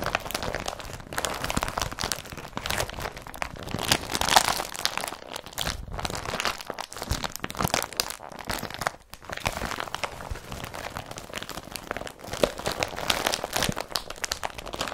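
Fingertips and nails scratch and crinkle the fabric of an empty blue IKEA BRATTBY carrier bag made of woven polypropylene, held close. The result is a continuous, dense crinkling and scratchy rustle with a bright, papery edge. It comes in rapid overlapping bursts with brief near-silent gaps.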